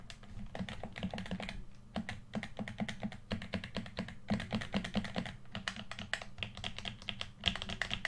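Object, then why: Plastic game controller. Fingertips tap rapidly on the body and buttons of a red plastic PS4 controller, hand-sized and hollow, held in both hands. The result is a dense run of short, dry plastic clicks and taps with bright edges over a steady low hum, pausing briefly near 2, 3, and 4 seconds.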